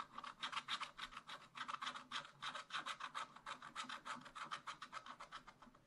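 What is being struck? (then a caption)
Wax-coated scratch-art paper scratched with a wooden stylus. A wooden stylus scratches stripes onto a raccoon's tail on black wax-coated scratch-art paper in a spiral-bound pad. Quick, rasping strokes repeat at about three to four per second in an uneven rhythm, each a bright, dry scrape centred in the upper mids with no low end and no ring.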